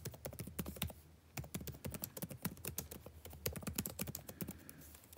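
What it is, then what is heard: Plastic laptop keyboard being typed on. Fingertips type continuously on the blue-backlit plastic keycaps of a dark laptop keyboard, producing a rapid stream of short, dry clicks and taps with bright tops. The clicks die out almost instantly over a faint, steady low hum, with a brief pause about a second in before the typing resumes.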